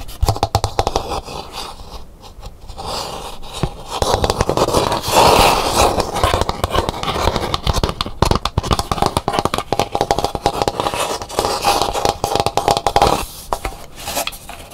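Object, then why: Dried calabash gourd bowl. Long pink nails scratch and tap the rough, pitted outer shell of a large, empty, hollow bowl made from a dried calabash gourd, which sits upside down. A dense run of fast scratches and taps fills the clip with a hollow, papery rasp. The sound swells louder in the middle and dies away quickly after each stroke.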